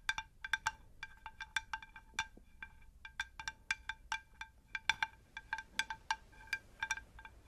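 Tapping on a ceramic terracotta pot gives a quick, uneven run of about thirty light taps. Each tap rings with clear chime-like tones centred near 1.6 kHz, with partials around 900 Hz and 2.5 kHz and bright upper overtones. Each tap fades quickly, with almost no low end.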